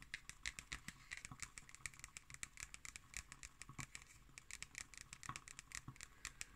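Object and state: Hardcover cardboard notebook.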